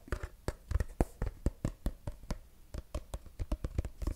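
Fingertips and short nails tap and scratch the flat surface of a medium-sized, apparently filled, mint-green soft plastic cosmetic tube held close to the mic. A quick, irregular string of dull, low, dry thumps with brief bright clicky edges stops instantly, with no ring. Faint scratchy rustling fills the gaps between taps.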